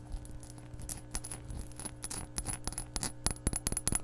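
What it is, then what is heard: Glass measuring cup. An empty glass measuring cup is held up and tapped rapidly with long nails. The result is a quick run of short, bright clicks and clinks with faint high glassy pings over a steady low hum.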